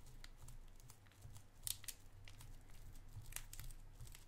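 A small, clear cellophane wrapper, partly opened around a white round candy, is crinkled with the fingertips. Quiet, irregular crackles give way to a few sharp, bright snaps over a steady low rumble.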